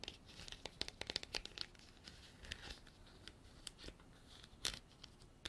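Long black artificial nails tap and scratch a hand-sized, hollow, textured white frosted hard plastic container that appears empty. Quiet, bright clicks and crackly scraping rasps come in irregular bursts, with a dense cluster of sharp taps early on and another near the end. Each tick dies away almost instantly, with little low end.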